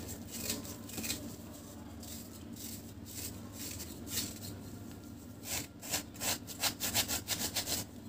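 A metal knife blade shaves a broken, solid chunk of dry cement cake held in one hand, using sawing-like scraping strokes. The result is a bright, gritty rasp over a low steady hum, with softer strokes at first and then a quicker run of sharper, louder scrapes near the end.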